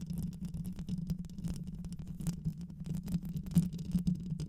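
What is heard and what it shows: Long white nails on both hands scratch the rounded metal mesh grille of a black microphone with a hollow head. The result is a dense run of rapid, rough scratching crackles and short clicks over a steady low hum, with sharp bright ticks flickering on top.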